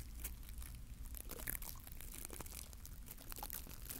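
Fingertips scratch and rub the bristles of a small glittery green plastic bottle-brush mini Christmas tree, with bristles on a wire core, held near the recorder. A quiet, steady stream of dry, crackly scratching and bright crinkles runs over a soft low rumble, with no clear pauses.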